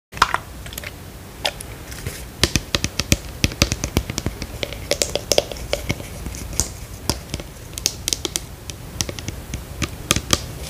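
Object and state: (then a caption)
Plastic skincare bottle tapped. Long pink acrylic nails tap the white plastic cap and body of a hand-sized plastic skincare bottle with a paper label, apparently hollow, its fill level not visible. Dozens of quick, dry, bright clicks land in an irregular patter, each dying away almost instantly over a faint steady background.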